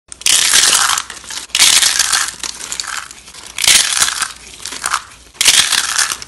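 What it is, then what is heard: Dry soap curls crushed by hand. Bare fingers squeeze and crush handfuls of small, hollow, rolled curls of dry bar soap in orange, green and white piled on burlap. Four loud bursts of bright, dense crunching and crackling, with softer rustling between them, as the curls break into flakes.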